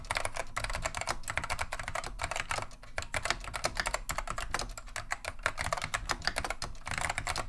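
Continuous fingertip typing with both hands on a beige plastic vintage Wang 725 mechanical keyboard fitted with Alps SKCM Neon Green/Lime switches. Rapid, dense keystrokes give sharp, bright plastic clacks with very short decay over a low thudding undertone. A brief dip in pace comes near the middle before the steady flurry resumes.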